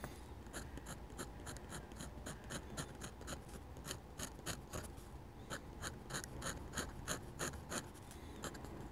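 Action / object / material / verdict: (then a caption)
scrape / metal dip pen nib on paper / paper / none. A metal dip pen nib makes short, quick scratching strokes on a flat sheet of drawing paper while shading a church roof. Each stroke gives a bright, crisp scratch in a steady, slightly uneven rhythm over a constant low hum.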